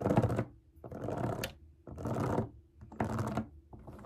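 Long nails tap and scratch the hollow bubbles of a large, round rainbow silicone pop it fidget toy resting on a table. Four bursts of dense, crackly scratching, each about half a second long, are separated by short pauses and sit over a faint low tone.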